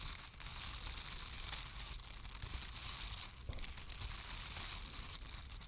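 Two identical small pink silicone cleansing brushes, flat and solid with soft silicone bristles, are each held in one hand and scratched and tapped with long acrylic nails. A continuous dense, crinkly scratching fills the clip, with bright high rasping over a low rumble and short taps popping out now and then.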